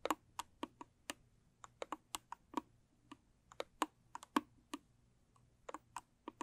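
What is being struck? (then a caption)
Small rigid cardboard gift box. Long stiletto nails tap the sides and lid of a closed, small, square, rigid cardboard gift box with a blue textured covering. About 23 quick, dry clicks come in an uneven rhythm over a quiet background. Each tap is crisp and mid-focused, with almost no low end and a very short decay.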